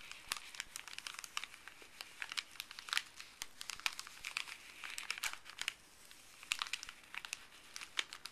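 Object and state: Crinkling paper bag.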